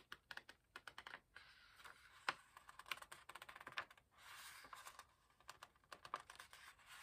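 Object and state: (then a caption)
Paper book pages being flicked. Fingertips flick the corner of a raised paper page in an open hardcover book, making a rapid series of quiet, crisp ticks with almost no low end. Between the bursts of flicks come longer bright, papery rustles as the page shifts.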